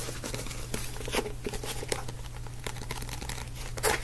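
Fingertips tap and scratch the glossy blue and black card cover of a small, solid paperback book. The result is quiet, dry crinkly scratching with soft, short taps over a steady low hum, and a slightly louder tap near the end.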